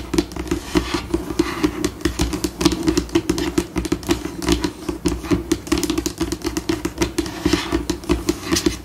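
Long pink acrylic nails scratch and tap across a flat, white, solid laminate tabletop, switching between slow and fast, scurrying paces. The result is a dense stream of short, dry clicks and rasping scrapes with a steady low-mid tone near 336 Hz and very little ring.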